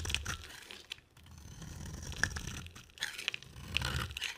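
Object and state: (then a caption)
Bar of soap being shaved. A solid, dry, palm-sized orange bar of soap is held in the hand and scraped and shaved with a box cutter blade, and the shavings pile up. Crisp, crunchy scraping strokes come in short bursts with bright, crackly edges over a soft low rumble.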